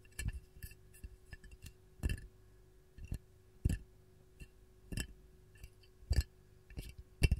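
A glazed white ceramic canister with a lemon print, hollow, is tapped on its body with long gold nails. Short, irregular clicking taps with a thudding low body and bright, brittle ticks sound in quick clusters and single strikes, each dying away almost instantly.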